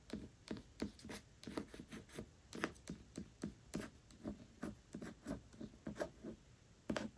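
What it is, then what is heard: Hardcover book with paper dust jacket. Long acrylic nails tap and scratch the glossy paper dust jacket of a large, solid hardcover copy of Tress of the Emerald Sea lying flat on a velvet cloth. A steady series of short, soft taps with a dull low body gives way to brief bright scratchy edges. Each tap dies away almost at once, leaving a quiet, close sound.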